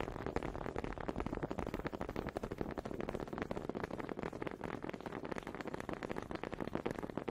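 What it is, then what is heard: Wooden honey dippers knocked together. Two small solid wooden honey dippers with grooved heads are held in both hands with long red nails and knocked and rubbed together in front of the mic. The result is a steady, rapid stream of dry, close wooden clacks and ridged rattling with a woody midrange tone.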